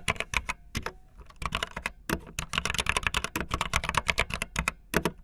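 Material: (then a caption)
Plastic. Fingertips with long nails type fast on a backlit optical linear mechanical keyboard with white and blue plastic keycaps. Rapid, bright plastic clacks come in quick bursts, with a brief lull around the one-second mark before the dense typing resumes.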